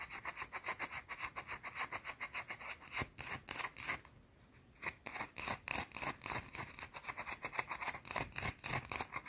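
Long blue nails scratch fast across a small, round, solid white soap bar, making a rapid run of about forty short, bright, dry scrapes. The strokes come in a quick, uneven rhythm with a brief quieter pause near the middle, carrying mostly high rasping texture and very little low end.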